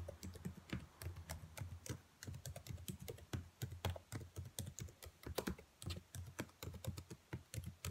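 Long nails and fingertips type rapidly on the black plastic keys of a dark laptop keyboard. A steady stream of short, dry clicks rises and falls in irregular bursts, each click pairing a soft low thump with a bright, crisp tick. Every click dies away almost instantly.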